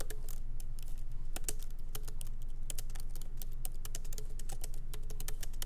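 Both hands type rapidly with their fingertips on a MacBook Pro keyboard, whose low-profile plastic keys sit in a solid aluminum body. The result is a quick, uneven stream of short, dry, bright clicks over a steady low hum.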